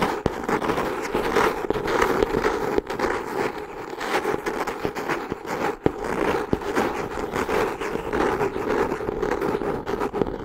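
Long painted nails scratch and tap the textured brown cork or kraft cover of a solid hardcover notebook with a yellow ribbon bookmark, held upright in both hands. A steady, dense crackling scrape fills the clip, centered in the midrange with little low end, broken by sharp, quick taps that die away almost instantly.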